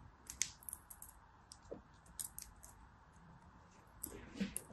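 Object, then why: Kinetic sand packed in a small plastic mold. A small, flat, yellow plastic mold shaped like a flower or animal, packed full of teal kinetic sand, is held in both hands while fingertips and short nails press and rub the sand surface. Quiet, crisp clicks and bright scratchy ticks sound over a soft hiss, each dying away almost instantly.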